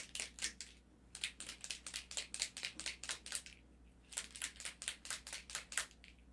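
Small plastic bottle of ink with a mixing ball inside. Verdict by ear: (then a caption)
Loose. A plastic bottle of metallic pearl alcohol ink is shaken so its little mixing ball, stuck at first under pigment settled at the bottom, now rattles freely. Bursts of bright, clicky rattles come in two shaking bouts separated by a short pause. The shaking goes on until the pearl color is mixed all the way through and no sediment remains at the bottom.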